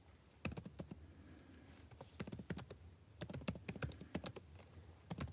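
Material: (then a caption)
Plastic. Fingertips tap the plastic keys of a backlit laptop keyboard in irregular bursts of typing, about two dozen short, dry clicks with a bright top and soft low thumps. Each click dies away almost instantly under a quiet low background hum.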